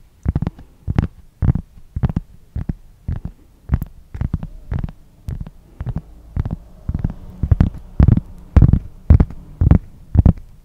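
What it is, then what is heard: Cork board scratched with fingernails. A large, solid, flat round cork board or coaster is held in front of the microphone and scratched with fingernails. Short, dry scratching bursts repeat at a loose, uneven rhythm, with a heavy low, muffled thump in each stroke and bright, crisp scratching on top.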